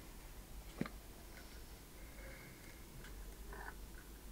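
A single sharp tap lands early, followed by faint, quiet scratching and soft ticking as long painted nails tap and scratch on the wooden lid and front of a small, hand-sized wooden treasure chest box. The box has a curved lid, a metal latch and corner studs, and is likely hollow. The tap has a short, low, woody knock that dies away almost instantly, while the scratches add light, brief brushes of brighter texture.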